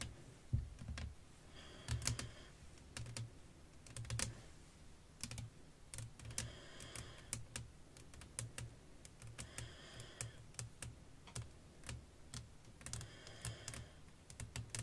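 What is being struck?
Flat glass pane.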